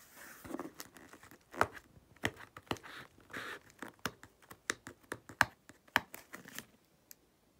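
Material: Cardboard.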